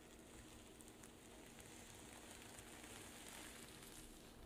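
Long pink nails and fingertips scratch and flip the reversible rainbow and silver sequins on a flat zippered pouch lying on a table. The result is a steady, quiet, dense crackling hiss, like fine rain or sizzling, with bright rustling texture that holds an even level throughout.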